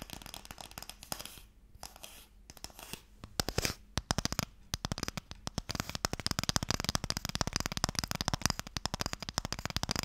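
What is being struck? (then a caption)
Small closed wooden stick box. Fingernails scratch and tap on a small, closed, pale wooden Mikado box, hollow and holding sticks. Soft, papery scratching in the first seconds gives way to increasingly rapid, dry taps. The crisp, bright clicks die away almost instantly, with a faint hollow low knock beneath them.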